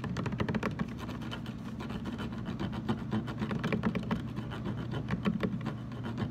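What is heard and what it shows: Fingertips tap rapidly and continuously on the sides of a large, hollow, blue translucent plastic water jug standing upright, with some light scratching mixed in. The taps are soft, dull and hollow, centered low around 180 Hz, and each dies away almost at once with no ringing.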